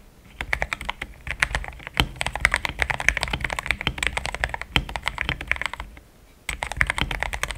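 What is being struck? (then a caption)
Mechanical keyboard with thick plastic keycaps. Fingertips type rapidly on a mechanical keyboard with thick plastic keycaps resting on a deskmat. The result is a dense run of short, crisp clacks centered around 2 kHz with a soft low thump beneath, briefly pausing just after the six-second mark before the typing resumes.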